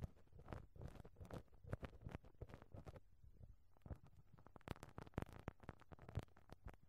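A pink rubber brush on a black stick is rubbed and pressed against the perforated metal mesh grille of a small microphone head. It makes a quiet, dense run of short, low, muffled scratches and soft thumps, with a few brighter crackly pops in the second half.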